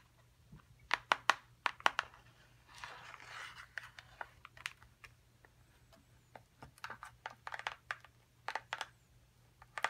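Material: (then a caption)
Cardboard. A small, hollow, printed cardboard box for a dinosaur excavation kit is tapped with long acrylic nails, first while held up and then while resting on the table. The taps are quick, sharp, dry clicks with a hollow papery tone, separated by short pauses, with a brief soft rustling scrape in between over a faint low hum.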